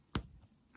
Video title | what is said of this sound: Sanyo M2818L Re-commissioning. Belt Change, Speed Adjustment. Vintage Radio Cassette Service | you hear how crispy it is it's snapping